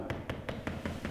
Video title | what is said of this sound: We Installed PORCELAIN Tile Floors...and there were BIG PROBLEMS! 🥴 | several tiles sound hollow because they weren't stuck down with enough glue